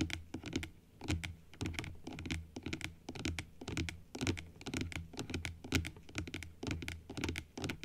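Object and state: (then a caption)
Plastic dental teeth model. Long acrylic nails tap quickly along the arch of white plastic teeth on a large plastic dental model opened upright. The taps land in an uneven, steady patter of sharp, bright clicks that die away almost instantly, over a low, steady hum.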